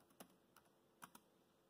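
Fingertips type on the black plastic chiclet keys of a dark grey laptop, giving four quiet, short, dry clicks with a bright snap. The clicks are spread unevenly across the clip against a faint background hiss.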